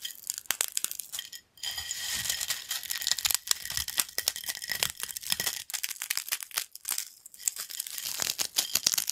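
A pile of yellow crunchy corn snack crumbs on a black plate is pressed and crumbled with fingertips. It makes dense, dry, bright crackling and crunching in rapid bursts, with brief pauses between handfuls. The sound is almost entirely high-pitched, with no low rumble.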